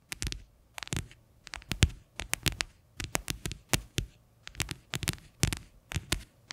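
Fingernails tap and scratch the flat bottom of a medium faceted white plastic bowl that sits upside down, hollow and empty, close to the microphone. Quick clusters of crisp, bright clicks ride over a low hollow thump, and each sound dies away almost instantly between short quiet gaps.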